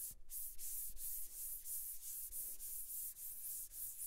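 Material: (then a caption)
Rubber. Fingertips press and rub a small pink and white squishy stress ball, a soft rubber ball filled with pink beads inside white mesh netting, against a white table, then pick it up in the hand. The result is quiet, steady, sanding-like rubbing strokes with a bright hissing texture over faint low thuds of contact with the table.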